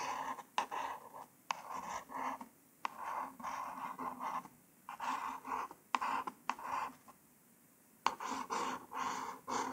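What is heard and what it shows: A single long nail traces and scrapes over the printed letters on a small white cardboard false nail package card. The result is a series of short, dry scratching strokes with a midrange rasp and occasional sharp ticks as the nail starts each stroke. Brief quiet pauses fall between the strokes.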